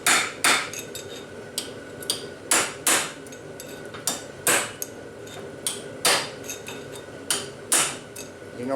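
A steel bearing race is tapped down against its retaining clip with a thin punch and hammer, giving a series of sharp, bright metallic taps with short ringing tails. The taps settle into a solid thud, showing the race has bottomed out and is fully seated.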